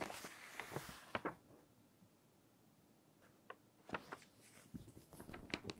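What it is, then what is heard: Glossy paper magazine. An open glossy paper magazine has a page turned, then a flat hand with long nails rubs and smooths the glossy paper spread. Quiet crinkles and sharp papery ticks come in two bursts, separated by a near-silent pause, over a soft airy rustle.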